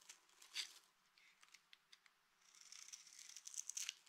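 A small, solid, mint-green dry soap bar with a textured surface, held in one hand, is scraped with the metal blade of a green utility knife, shaving off curls and flakes. Quiet, bright, crisp scratches and crinkles start as scattered short strokes, then turn into a denser, continuous scraping with sharper peaks toward the end.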